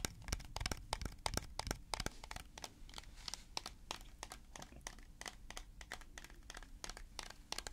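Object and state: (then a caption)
Plastic jar with plastic lid. A hollow white plastic tub with a large blue plastic screw lid, held in the hands, is tapped and scratched with fingertips and nails. Quick, irregular dry clicks and taps, about three a second, cut off sharply with bright crinkly scratching between them over a soft low rumble.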